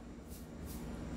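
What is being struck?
Nothing is struck.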